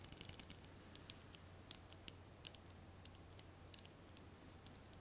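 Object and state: Ribbed glass candle jar tapped with nails.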